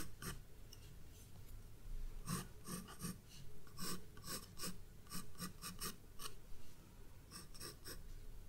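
A graphite pencil is rubbed and scratched across the page of a spiral-bound paper sketchbook resting on a wooden desk, drawing and shading a vase outline. Short, dry raspy strokes repeat in uneven bursts, each with a bright scratchy edge over a soft low rumble.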